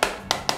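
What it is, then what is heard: Solid speaker housing. A hammer taps three times on the front housing of an Eggel Terra 3 Neo RGB portable Bluetooth speaker to test its build quality. Each tap is a short, bright knock with a mid-pitched ring that fades quickly. The housing sounds solid.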